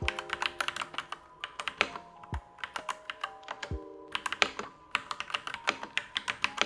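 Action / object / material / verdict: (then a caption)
tap / mechanical keyboard with plastic keycaps / plastic / none. Fingertips of both hands type continuously on a Next Time 75 mechanical keyboard with Gateron Yellow switches and black plastic keycaps in a light-grey case, resting on a desk mat, pressing and bottoming out the switches. A steady stream of short, bright, clacky keystrokes sounds with little low-end thump, including a few slightly deeper thocks from larger keys, broken by brief pauses.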